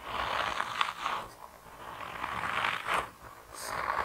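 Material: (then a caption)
Rubber. A hand-sized grey soft rubber mouse toy, solid and flexible, is squeezed and twisted between thumbs and fingertips. It gives repeated squeaky, scraping rubs centered around 1 kHz, swelling and fading in uneven bursts with brief bright squeaks.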